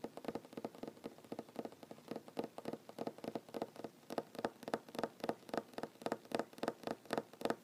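Short fingernails drum fast taps on a solid wooden tabletop. Around three dozen dry, clicky taps fall in quick, uneven bursts, each with a warm mid-range knock near 460 Hz that dies almost instantly, with a faint bright click on top.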